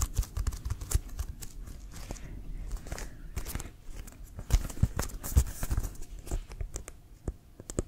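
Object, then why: Leather American football. Fingernails scratch and fingertips tap on a hollow, inflated brown leather American football with a white stripe. Quick, dull, low thumps ring off almost instantly, mixed with soft crackly scratching across the leather in an uneven, rapid rhythm.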